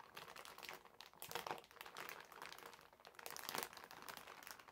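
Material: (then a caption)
Plastic film. Fingertips of both hands rub and scrunch a medium, clear polyethylene zip-lock bag with a blue zipper, lying flat and empty on a white table. The result is quiet, continuous, bright crinkling and crackling with little low end, swelling into louder bursts around 1.4 and 3.6 seconds.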